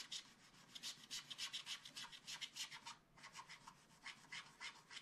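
A wooden stylus held in the fingers scrapes the coating off a black wax-coated scratch-art paper page in a small spiral-bound book lying flat. Quick, irregular scratching strokes come at about three to four per second, each a short, dry, bright rasp with almost no low end, and there is a brief pause near the three-second mark.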